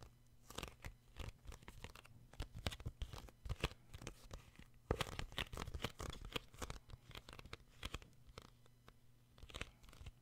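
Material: Paper, card.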